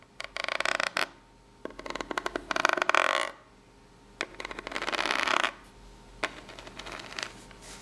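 A long pink nail scratches and taps along the ridges of the flat, ribbed top of a corrugated cardboard box. It makes bursts of dry, crackly scraping, with sharp taps at the start of the strokes and a rough texture centered around 1.5 kHz that reaches bright highs. Three louder scratching passes are followed by a quieter stretch of lighter taps and scrapes.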